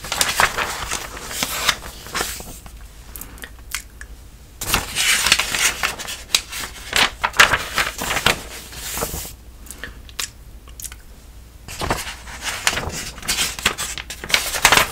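Fingertips and a palm rub and slide over the coated pages of an open glossy paper magazine held upright while turning them. The result is bright, crackly paper rustling in bursts, separated by quieter stretches of soft sliding.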